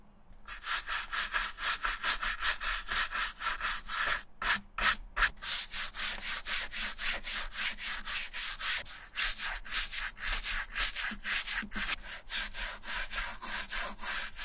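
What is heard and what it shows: A wooden-handled bristle brush scrubs the upper and sole edge of a wet silver leather Repetto ballet flat with water while the shoe is held over a towel. It produces a steady run of quick, bright, hissy scrubbing strokes with short pauses between them.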